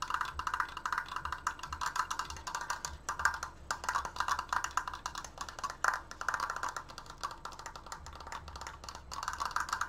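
Fast tapping on a wooden Triforce decoration gives a steady stream of dry, hollow wood-block clicks centered around 1 kHz. Each tap dies away almost instantly, with a little high brightness and very little low end.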